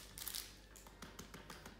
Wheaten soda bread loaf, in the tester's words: It's sort of a hollow sound, but you can tell.